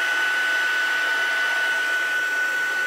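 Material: Nothing is struck.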